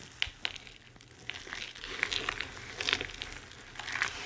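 Two hands with long red-painted nails scoop, squeeze and crush handfuls of a loose pile of dry, crumbled white, green and pink bar soap on a white surface, with pieces ranging from hand-sized chunks to fine crumbs and shavings rubbing against each other. The sound is a bright, dry crinkling crunch with sharp crackly snaps over a steady gritty rustle, almost all in the high range with very little low end.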